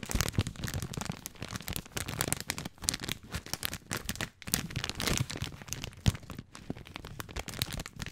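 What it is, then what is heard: Plastic spaghetti package being crinkled. Fingertips and nails crinkle and scratch the plastic film of a long, full package of dry spaghetti. Dense bursts of crackling crinkles and sharp scratches run continuously, with a low rustling body and bright, crisp tops. Occasional louder snaps stand out.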